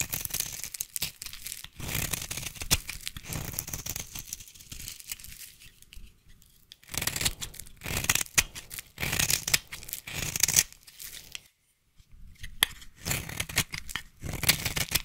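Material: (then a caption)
Soap. A solid cream-white bar of soap held in the hand is shaved with a small black-handled blade, peeling off curls of soap. Dry, bright scraping and tearing strokes come in close bursts, with a brief silent gap near the end before the shaving resumes.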